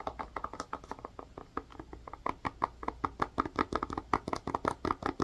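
A hand-sized blue plastic ice pack or tray, with rounded bubble sections and a white plastic rim and either hollow or filled, is held in both hands and tapped and scratched with long fingernails. Quick, dry plastic taps and clicks with a mid-pitched tone come in an irregular stream, each dying away almost instantly. They grow louder and busier in the second half.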